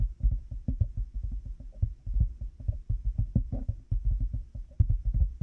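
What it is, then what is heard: Plastic headphone headband. Fingertips and nails rapidly tap a black plastic headphone headband with cat-ear pieces resting on a 3Dio binaural mic. The result is a quick, irregular stream of short, dull, deep thumps with almost no brightness, each dying away almost instantly.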